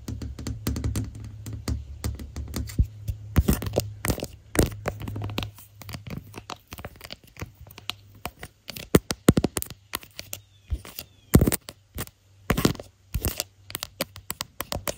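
Fingertips and nails tap and scratch the back and edge of a handheld smartphone in a clear floral-print plastic case, with the phone itself doing the recording. Close, dull thumps and short dry clicks mix with scratchy rustling over a low hum in the first half. Later the taps come in sparser, sharper bursts separated by quiet gaps.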